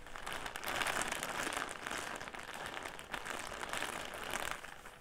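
An upright clear plastic bag full of cotton pads, held in both hands, is scratched and crinkled by fingers. The result is a continuous, dense crinkling and scratching texture, brightest in the mid and high range, that swells in two louder waves with a brief dip in between.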